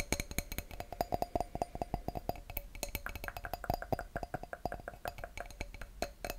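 An empty clear wine glass bowl is held over a microphone while fingertips and nails tap the glass in a rapid, uneven series. Each tap gives a short, bright clink with a faint ringing tone in the midrange, layered over soft, hollow low thumps. The taps die away almost at once.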